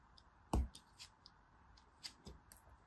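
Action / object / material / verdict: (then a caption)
scrape / small pressed soap dome cut with a thin metal blade / pressed soap / none. A small, solid yellow dome of dry, crumbly pressed soap is held in the palm and sliced into layers with a thin metal blade. The result is quiet scraping and cutting with crumbling, including one sharper, heavier crunch near the start and a few fainter crackles after it.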